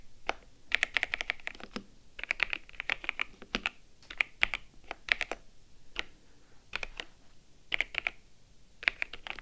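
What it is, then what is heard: Plastic mechanical keyboard typing. Both hands type with long-nailed fingertips on the keycaps of a white and grey plastic mechanical keyboard resting on a desk. The result is quick bursts of sharp, bright key press clicks centered around 2 kHz, with brief pauses between runs. Each click stops almost instantly, leaving a faint low background.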